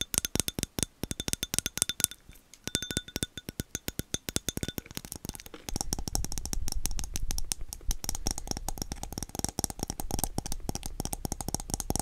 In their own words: 5:17 - 6:34 Tapping on glass